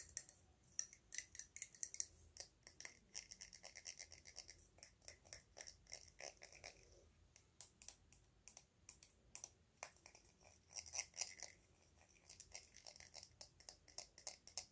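Fingernails tap and scratch the ridged cap and body of a small, hollow, cylindrical silver metal spray bottle. Dozens of quiet, quick, bright clicks and scratchy rasps come in an uneven rhythm, each dying away almost instantly with almost no low end.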